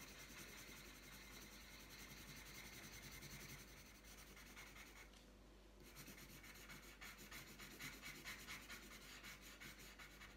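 The tip of a purple wooden coloured pencil rubs back and forth across a thin, flat sheet of printed paper lying on a tabletop while colouring. It makes a steady, soft, bright scratchy rasp with a rough, uneven rhythm. The rasp briefly quiets around the middle, then resumes slightly louder.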